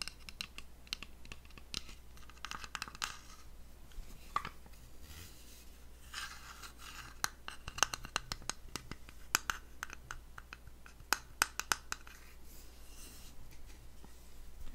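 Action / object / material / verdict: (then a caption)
scrape / small wooden box with brass inlay / wood / none. A small, dark, hollow wooden box with brass star and moon decorations is turned in the hands while fingernails scratch and tap on it. Soft, dry scratching runs throughout, broken by sharp, clicky taps that stop instantly with no ring. A steady low hum sits underneath.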